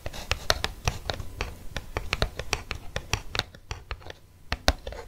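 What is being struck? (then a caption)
Plastic blister pack on a cardboard card. Fingernails scratch and tap an eos lip balm blister pack, a plastic blister mounted on a cardboard card. A rapid, uneven stream of sharp, dry plastic clicks and crinkly scratches with bright crackle and a soft low thump under each tap. The taps briefly thin out and quieten around the fourth second before a few firmer taps close the clip.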